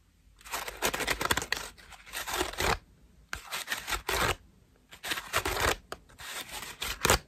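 Long nails scratch and tap the ruffled petals of a cream foam bath loofah at close range. The result is dry, crackly, scratchy rustling with a bright edge, arriving in three bursts separated by short pauses.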